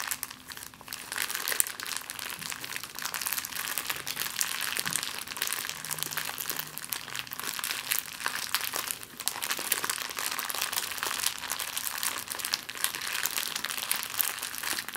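An empty clear plastic bag is scrunched and crinkled in the hands, giving a continuous, dense crackling that sits almost entirely in the bright high range with very little low end. The rustling stays steady across the clip with only brief dips, such as around nine seconds.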